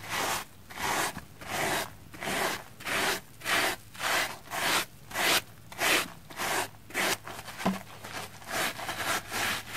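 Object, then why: Soapy plastic foam sponge. A red porous plastic foam sponge covered in heavy soap lather is scrubbed with a pink silicone face-cleansing brush with nubs. Thirteen steady, evenly spaced strokes make wet, bright rubbing and scraping swishes with a fizzy, lathery hiss, separated by short quiet gaps.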